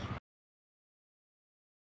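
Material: Nothing is struck.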